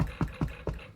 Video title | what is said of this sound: Hearty Ricotta Bread | When you knock on it, it should sound hollow. When it sounds hollow, you know it's officially done.